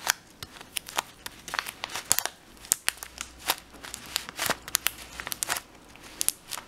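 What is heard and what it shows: Fingers pinch and crinkle the sealed edge of a full plastic bag of dried lentils and squeeze the lentils inside. A rapid, irregular series of sharp, bright crackles and rustles rises from a quiet background, each snap dying away almost instantly, with almost no low end.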